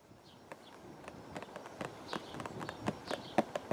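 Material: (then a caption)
Cardboard. A hollow purple and white printed cardboard teacake box, held against the chest outdoors, is tapped with the fingertips of both hands. About eleven light, dry, hollow taps land in an irregular rhythm, each dying away almost at once. The taps grow gradually louder toward the end over a soft, steady background.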